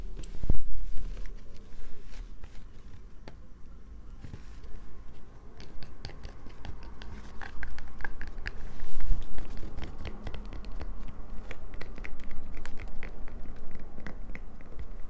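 A solid light-blue bar of soap is held in one hand and scratched with the long nails of the other hand. Dense, dry clicking and crisp scraping ticks run throughout over a low rumble, with brief louder bursts near the start and around the middle.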